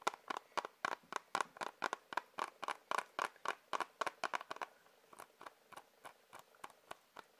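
Fingers tap on a plastic Blu-ray case, making about 28 quick, dry, clicky taps in an uneven rhythm with a slight hollow tone near 1 kHz. For the first four and a half seconds the taps come fast and fairly loud. After that they turn softer, duller and more spaced out until the end.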